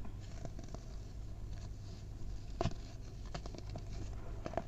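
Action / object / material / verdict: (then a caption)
scrape / packed baking soda powder / baking soda / none. Bare fingers and palms squeeze, crumble and rub clumps of a large mound of packed white baking soda powder in a tray. Soft, crunchy crackles and gritty rubbing patter over a steady low hum. A few sharper crunches stand out, the loudest near the middle.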